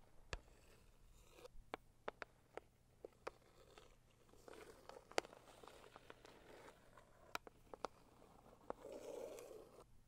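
Long acrylic nails scratch and rub a hollow, medium-sized pink floral Saviland cardboard gift box. Sharp, dry clicking taps are spread through the clip over a soft, papery rubbing hiss. The rubbing swells into a louder scratchy burst near the end.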